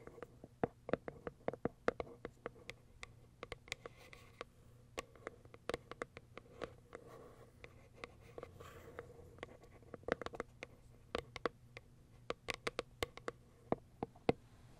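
Long acrylic nails tap and scratch the plastic window on top of a small white cardboard box. Dozens of crisp, quick taps land in irregular bursts, each stopping almost instantly, with faint scratching between them over a low, steady background hum. The sound stays quiet and light, with a hollow midrange knock under each bright click.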